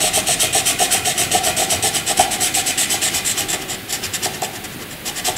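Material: Graphite.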